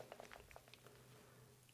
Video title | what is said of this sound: How to Make CHOCOLATE TRUFFLES Tutorial - Yeners Cake Tips with Serdar Yener from Yeners Way | So we shake well, didn't have blop, right? So there is no air bubbles inside here.